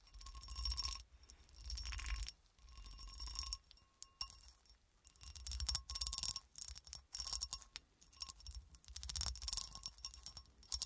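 A solid, hand-sized clear cut glass horseshoe with a ridged texture, held upright in both hands, is scratched and tapped with long acrylic nails. Bursts of bright, clicky tapping and rasping scratches come in uneven waves, each with a short, high glassy ring and soft low thumps underneath.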